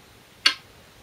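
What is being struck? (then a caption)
Glass go stone on a shinkaya wood floor board. A size 36, 10.2 mm Korean glass go stone is placed on a 2-inch shinkaya wood floor go board during a game replay, testing the sound of the board and stone together. A single sharp, bright click is heard, with a high ringing tone that fades within a fraction of a second.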